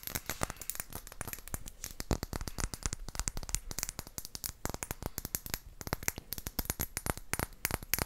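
An empty, clear round glass flask with a cork stopper is tapped with long acrylic nails. It makes a rapid, continuous stream of sharp, clicky taps with a bright, high glassy tone that cuts off almost instantly after each hit.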